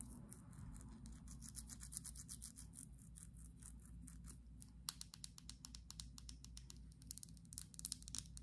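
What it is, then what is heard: Glass perfume bottle. Long acrylic nails tap and scratch along a small, slim, clear glass perfume bottle with a black cap, partly filled. The result is a quiet, rapid run of sharp, bright clicks and scratchy ticks over a steady low hum. The taps grow crisper and more spaced in the second half.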